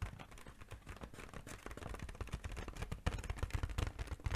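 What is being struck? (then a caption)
Inflated mylar foil balloon. An inflated, hollow, sheep-shaped silver mylar foil balloon is held in both hands and tapped rapidly with long painted nails. About two dozen quick, dull, low thumps carry a faint crinkly rustle, and the taps grow louder and sharper in the second half.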